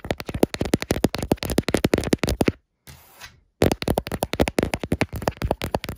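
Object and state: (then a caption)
Laminated wood-grain cabinet door. Long dark-painted nails and fingertips rub and scratch along the grain of a large, flat, solid wood-grain laminated wardrobe door, making a rapid run of short, dry scratching strokes. The strokes pause for about a second, leaving only a faint soft rustle, then resume at the same quick pace.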